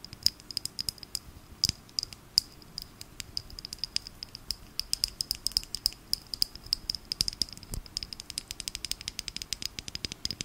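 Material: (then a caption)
Plastic. A small, filled plastic glitter bottle with a pink cap is tapped and scratched with long nails. A rapid stream of sharp, dry, bright clicks and scratchy rattles runs throughout, with a faint thin high tone underneath. Each tick cuts off almost instantly, with very little low end.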